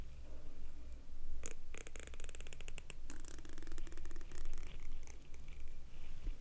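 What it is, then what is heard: Plastic comb. A fingernail strums and scratches along the fine teeth of a medium, solid pink plastic comb held in one hand. It makes bursts of rapid, bright ticking clicks over a steady low hum.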